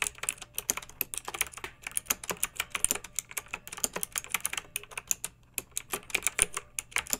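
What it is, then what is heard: Plastic mechanical keyboard. A pink backlit mechanical keyboard with round typewriter-style plastic keycaps, resting on a fluffy rug, is typed on with the long nails and fingertips of both hands. A steady, quick run of short, bright plastic clicks and taps follows, each dying away almost instantly, with brief pauses between bursts.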